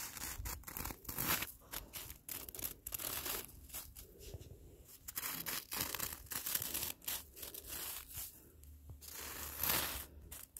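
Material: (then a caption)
Snow. A hand in a black fabric glove scratches and rakes its fingertips across melting, crystallized snow lying on the ground, its surface turned solid, icy and granular. Repeated bright, crunchy scraping bursts crackle and crinkle like tearing, each dying away almost instantly between strokes.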